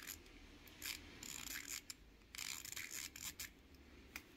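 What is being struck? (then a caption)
Small plastic fidget cube. A small pink plastic fidget cube is held between both hands while fingertips rub its dial and roll or press its bumpy button face. Quiet, bright, scratchy rubbing comes in short bursts with brief ticking clicks, and little low-end body.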